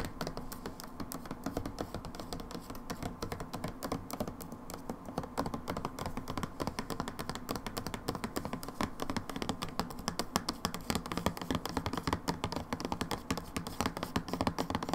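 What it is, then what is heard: Plastic hand soap bottle. A plastic hand wash bottle is turned from upright onto its side while long nails tap rapidly across its body. The result is a dense, steady stream of short, dry, hollow clicks with a low-mid body, quieter at first and a bit louder and sharper after about five seconds.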